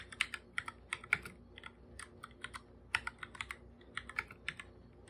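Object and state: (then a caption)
Plastic computer keyboard. Bare fingertips type fast on a full-size black plastic computer keyboard with plastic keycaps, a hollow device. About 25 quick, dry taps are heard, with bright, clicky tops centred near 2 kHz, very little low end, and no ring after each press.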